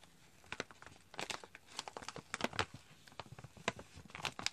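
A medium-size, partly full chicory drink pouch made of foil-lined plastic is held in both hands and crinkled and squeezed with fingers and nails. It gives off quiet, irregular bursts of sharp, bright crinkling and crackling, with short snaps that stop dead.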